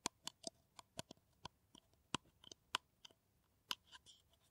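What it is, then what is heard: Empty paper cup tapped and scratched with nails. A hollow, empty kraft paper coffee cup is scratched and tapped with long nails. The result is a quiet series of sharp, dry, bright clicks with a papery scratch and almost no ring.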